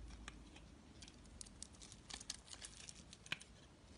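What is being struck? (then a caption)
Bar of soap shaved with a metal blade. A metal blade shaves a solid, rectangular, pale bar of soap held in the hand, peeling off curls. Soft, bright scraping and crackling comes with a run of sharp, short ticks and snaps that die away almost instantly over a faint low hiss.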